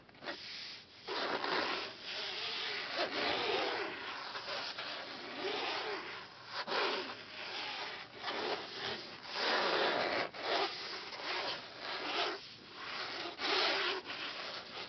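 Fingertips and palms rub and slide across a thin, translucent vellum-like printed page lying flat over a patterned page in an open hardcover book. The result is a steady, papery brushing with bright, hissy swells that rise and fade in waves.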